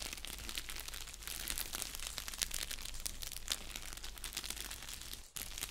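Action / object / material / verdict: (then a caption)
scrape / padded bubble mailer envelope / paper / none. An orange padded bubble mailer envelope, flat and hollow, is crinkled and scratched with fingers and nails. The result is dense, continuous bright crinkling and scratching over a steady low hum, with a brief drop to near-silence just before the end.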